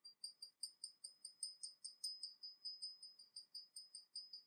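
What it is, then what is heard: Porcelain teapot. A small, hollow, painted porcelain teapot with a dragon motif, held in the hands, is tapped rapidly from below with long nails. About 23 quick, quiet, bright clicks ring high and clear, each fading almost at once. The taps come in a loose, uneven rhythm.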